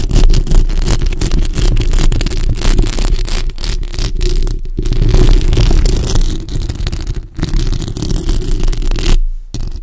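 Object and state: Metal mesh microphone grille.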